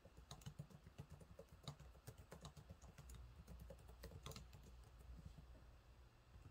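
Fingertips type on the low-profile plastic keys of a silver laptop keyboard, producing a steady run of quiet, quick taps. The clicks are soft and dull, with most of their weight low and occasional bright ticks, and each dies away almost instantly over a faint low background.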